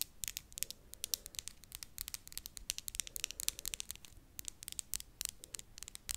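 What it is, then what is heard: Acrylic fake nails tapped together. Long, thin, hard acrylic stiletto-style fake nails are tapped tip against tip with the other hand's nails close to the mic. The result is a dense, irregular run of many sharp, bright clicks with almost no ring, over a faint low hum.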